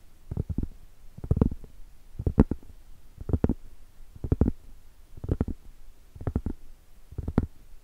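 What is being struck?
Round cork board tapped with fingernails.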